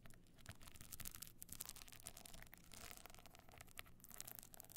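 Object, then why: Box clutch covered in glued stone chips. Long nails scratch the glued stone-chip side of a box clutch standing on edge, its gold metal frame visible. The result is a continuous, dense, bright rasping scrape with gritty crackles and a soft low rumble underneath, rising and falling steadily without pausing.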